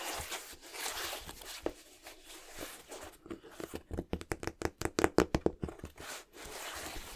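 An empty, hollow purple Jordan-style high-top sneaker with a leather and suede upper and rubber sole is held in both hands while fingertips and nails tap and scratch the upper and tongue. Soft, broadband scratching rustles open and close the clip, and a quick run of sharp, short taps fills the middle.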